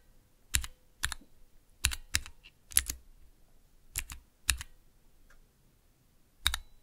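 Fingertips press and tap the keys of a small 3x3 switch tester, with clear plastic keycaps on Cherry MX switches set in a clear plastic base resting on dark velvet. Sharp, bright plastic clicks with a low thock come in short, often doubled bursts separated by quiet gaps. Each click dies away almost instantly.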